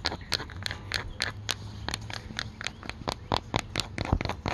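A dark green cloth bucket hat with a stitched brim, soft and hollow, is held up outdoors and scratched and tapped with fingertips and paperclip-covered nails. About twenty quick, bright clicking taps and scratchy strokes sound over a steady low hiss of rain in the background.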